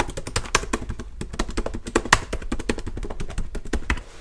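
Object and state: Plastic laptop keyboard.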